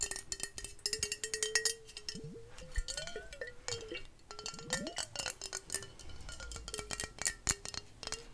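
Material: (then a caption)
Glass. A medium amber glass liquor bottle with a paper label is held in the hands and tapped rapidly with long fingernails; its liquid content is unclear. The taps come as quick, bright, glassy clicks and clinks with a short ring near 1.9 kHz. A faint wavering tone runs underneath.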